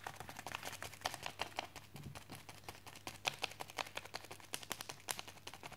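A wooden chopstick tip and fingertips tap rapidly on a white plastic postal mailer with a package inside, lying on a desk. The result is a dense stream of short, dry, bright clicks and light crinkly ticks with no ring, varying in loudness from tap to tap.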